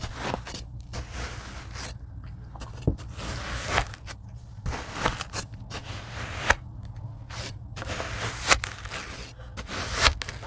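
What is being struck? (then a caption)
Tray of kinetic sand cut with a rocker blade. A rocker blade slices lines into a tray of kinetic sand, producing soft, gritty scraping and crunching strokes with bright, crackly edges. The strokes come in repeated passes with a few sharper crunches standing out, over a steady low hum.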